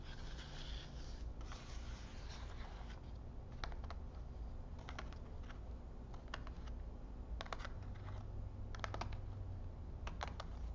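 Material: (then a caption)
Cardboard. Fingertips with medium nails tap and drum across the tops of a row of small, hollow, printed cardboard vintage film boxes packed into an open cardboard display box on a table. The result is a quiet series of light, crisp ticks and clicks over a steady low rumble. The taps come in scattered quick clusters.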